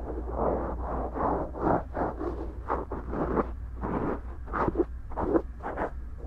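A cotton swab strokes and scratches inside the right silicone ear of a binaural microphone, a soft and solid ear, and along its rim. The result is a run of close, muffled rubbing and scraping bursts, dull and mid-pitched with no bright edge, over a steady low hum.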